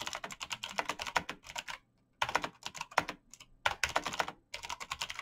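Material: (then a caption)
Plastic. Fast fingertip typing on a black plastic mechanical keyboard with backlit keys produces dense, bright clicking taps in quick bursts. The typing stops briefly twice, with near silence between the bursts. Each tap is short and crisp, with almost no low end.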